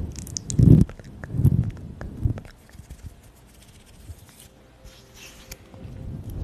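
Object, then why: Faux-fur microphone windscreen. Long pink acrylic nails and the fingertips of both hands scratch and rub a soft, fluffy grey-black faux-fur windscreen over a microphone. Deep, muffled rubbing swells come in strong bursts early on, then fade to faint scratches and soft brushing that build slightly again at the end.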